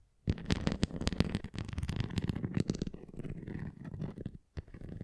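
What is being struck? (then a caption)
Plastic flying ring toy with nubs. Long nails scratch across the nubbed cross and rim of a red plastic flying ring toy. The result is a dense run of dry scratching and sharp clicking, heavy in the low end, with brief pauses near the middle and just before the end.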